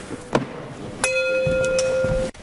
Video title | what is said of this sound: Mythbusters full episodes season 3 episode 3 | some of these are a little more dead than the others if you flick it I hear how that rings